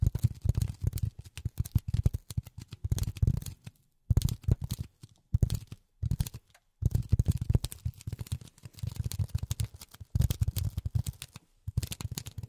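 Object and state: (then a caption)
Polyethylene foam. Polyethylene foam is tapped with silicone rubber finger pads. Rapid, soft, dull thuds come in bursts separated by brief pauses, with weight sitting low and almost no bright top end.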